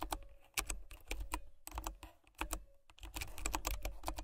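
Fingertips and nails type on a white plastic mechanical keyboard with brown switches, producing a quick, uneven run of crisp keystrokes in bursts separated by brief pauses. Each press lands as a short, bright clack over a soft low thud, and the sound dies away almost instantly.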